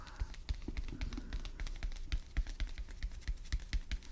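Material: Cardboard.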